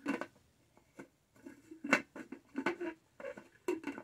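Long nails tap and scratch the textured lid near the straw of a tall, black, studded, hollow plastic tumbler. Quiet, dry, irregular clicks mix with brief scratchy rasps, each dying away almost at once with no ring, and brief silences fall between them.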